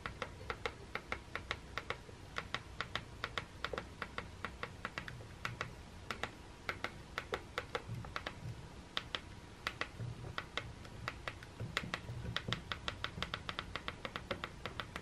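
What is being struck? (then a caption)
Plastic electric toothbrush handle. Quick, dry plastic clicks as a painted-nail thumb repeatedly presses and taps the green button on a white and green Philips Sonicare electric toothbrush handle, which is hollow plastic and held in the hand. The sharp, bright taps come in irregular bursts over a low, steady background hum.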